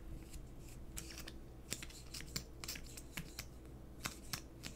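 A small, hollow gold and blue metallic plastic lipstick tube is held in both hands and tapped and scratched with fingernails while the cap is handled. Quiet, sharp, bright clicks and taps come at irregular intervals over soft scratching and a low, steady hum. Each tap dies away almost at once.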